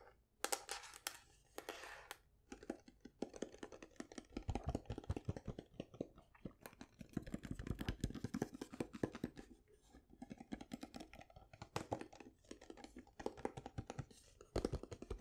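Long nails tap quickly on the top and edges of a hollow, painted wooden folding chessboard case. The result is a dense, rapid patter of short, dry clicks with hollow low knocks underneath, rising and falling in busy bursts with brief pauses.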